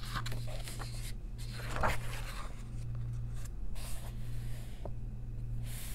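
Long nails trace the printed text of an open paper coloring book and turn its pages, making dry scratching strokes and crisp, papery page flips. A steady low hum sits underneath throughout.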